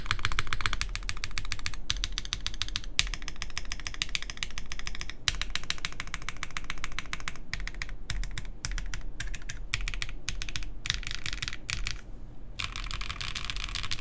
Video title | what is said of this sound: QK Neo65 Cu Build Stream | this sounds really good this sounds solid I mean like it doesn't really sound Hollow